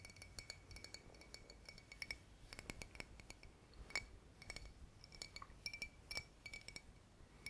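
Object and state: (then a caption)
Glass bottle. Fingers tap on a glass bottle in a steady run of quick, crystal-clear clinks, each with a bright ringing tone near 2.3 kHz. The taps come in close clusters and die away almost at once over a faint low background hiss.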